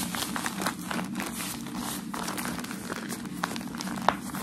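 A rolled wad of crumpled white shoe wrapping paper is held upright and tapped, scratched with fingertips and nails, and squeezed. The result is a steady, dense crinkling and rustling with soft taps throughout, ending in one sharp, bright crack near the end.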